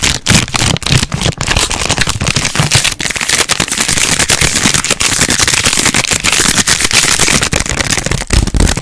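A small purple plastic Cadbury Mini Snow Balls sweet bag, apparently still sealed with the sweets inside, is held in both hands close to a microphone and rapidly squeezed, crinkled and scratched with long nails. The result is a dense, continuous, bright crackling with soft low thumps from the contents shifting, staying loud and steady throughout with brief dips between handfuls.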